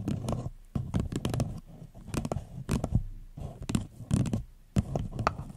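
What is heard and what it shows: An empty floral paper cup placed over the mic is tapped and scratched with long nails and fingertips. Clusters of dry, hollow taps and scratchy rustles come in quick bursts separated by short quiet gaps, with a low papery body and brief bright clicks that die away almost instantly.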